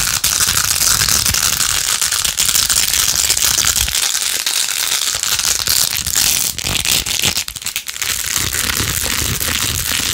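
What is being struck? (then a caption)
Plastic phone case covered in plastic pearl beads. A handheld rose-gold-edged plastic phone case with rows of glued-on pink plastic pearl beads is fast-scratched with long acrylic nails. The result is a dense, continuous, bright clicking and crackling rasp that stays steady throughout, with a brief thinning near the end.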